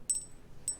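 Two jadeite bangles are pinged together twice, each strike giving a bright, high ting that rings briefly over a low background hum. The clear ring marks the bangles as good-quality, uncracked and untreated jade.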